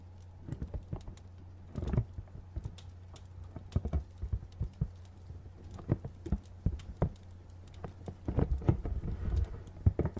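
A medium printed cardboard retail box, hollow, is tapped on its sides with fingernails, giving quick, dry, hollow ticks and patters. The taps come in irregular bursts with brief pauses over a low steady hum.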